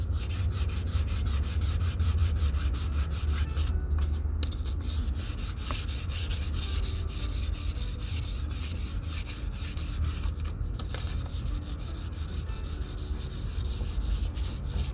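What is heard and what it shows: A distressed brown leather Red Wing Pecos 9801 cowboy boot, held empty in the hand, has a small piece of fine-grit sandpaper pressed under fingertips and rubbed back and forth over the toe. A steady, rapid scratchy rasping runs throughout, with bright gritty hiss over a low rumble and no pauses.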